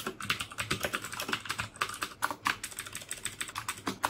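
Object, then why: Plastic mechanical keyboard. Fingertips type steadily on the keycaps of a black plastic mechanical keyboard with clicky Cherry MX Blue switches. About 29 sharp, bright clicks come in a quick, even stream, each snapping off almost at once, with a crisp tone around 1.4 kHz and very little low end.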